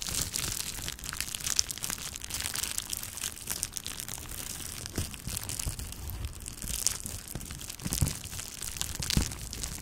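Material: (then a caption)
Plastic. A small, clear plastic bubble wrap sheet is crumpled and scratched with long nails. The result is a steady, bright crinkling and scratching that runs throughout, with low rustle underneath. Sharper crackles stand out now and then.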